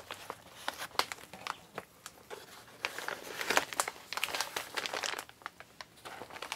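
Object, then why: Kraft paper mailer bag. An empty, flat, medium-size Amazon recycled kraft-paper mailer bag is crinkled and crumpled by hands with long painted nails. Dry, crisp crackles and sharp papery snaps come in uneven bursts, bright with almost no low end. The crumpling grows busier and louder in the middle before easing back to scattered crinkles.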